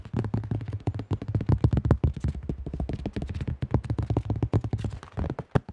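Fingertips rapidly tap the rim and face of a cream AGL plastic disc golf disc with a thin shell. The taps come as a fast, steady patter of dull, low, hollow knocks with almost no ring.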